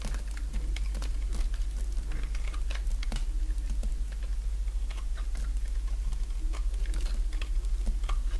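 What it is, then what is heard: Dry soap bar being carved. A small solid bar of dry white soap, held in the fingers, is carved with a utility-knife blade in short scraping strokes that break off crumbly flakes. Quick, irregular dry scrapes and crackles sound over a steady low hum.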